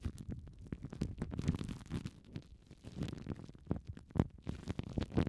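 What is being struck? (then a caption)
Plastic cling film wrapped over a foam microphone cover. Fingertips and long painted nails rub, squeeze and crinkle thin clear plastic cling film wrapped tightly around two small yellow and orange foam windshields directly on a TASCAM microphone. The result is a dense stream of close, muffled crinkles and soft thumps, heavy in the low end with little brightness, rising and falling in irregular bursts.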